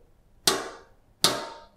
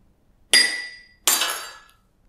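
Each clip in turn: First: Two bright metallic clangs from a struck tray, each ringing briefly; the metal takes the blows intact. Second: Two sharp hammer strikes on a glass; the first rings thinly, the second bursts into a bright shattering crash.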